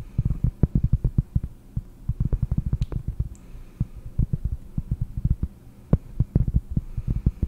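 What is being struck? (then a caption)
Flat cork board disc. A round, flat, solid cork disc is held in one hand and tapped with the long fingernails of the other. Dozens of quick, dull, low thuds come in irregular bursts, each dying almost instantly with no ring over a faint low hum.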